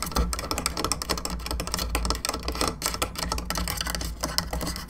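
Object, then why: Hollow molded plastic skull lamp. Long fingernails scratch and tap the top of a hollow, molded, painted plastic skull candelabra lamp, lit from inside, and its bone arms with three candle sockets. A rapid stream of sharp, bright plastic clicks and scratchy rasps sits over a steady low hum, each tap dying away almost instantly.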